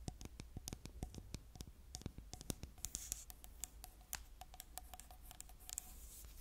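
A hollow, medium silver-beige aluminium aerosol spray can with a white plastic cap is held in one hand and scratched and tapped along its body with long nails. The result is a rapid run of sharp, bright clicky taps mixed with light scratching, each tap dying away almost at once. A steady low hum runs underneath throughout.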